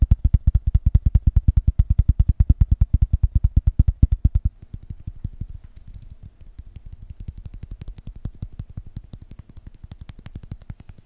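A box is tapped fast and aggressively, giving a rapid stream of short, dull, low-pitched knocks. The taps are loud and heavy for about the first four and a half seconds, then continue at a softer, lighter level until the end.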